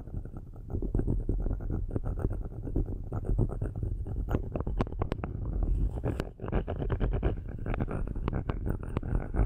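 Metal-tipped sticks scratch the metal grille tops of two black microphones in many quick strokes. The result is a dense, low, rumbling scratch texture broken by sharp, bright clicks that run steadily throughout the clip.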